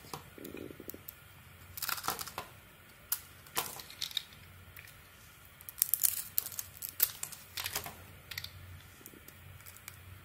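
A metal blade carves and shaves chunks off a solid oval Penaten bar soap, mauve outside and white inside, held in the hand. Bursts of bright, crisp scraping and crumbly crackling come in irregular clusters over a quiet low hum, with short sharp snaps that die away almost instantly.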